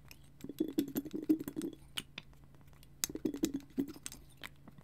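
Fingers and nails tap and scratch a small frosted glass bottle, which has a clear glass dropper or stopper and jute twine wrapped at the neck, held close to the mic. Two bursts of quick, soft clicking taps give a muted knock around 300 Hz with bright edges, separated by quieter scratching. Each tap dies away almost instantly with no ring.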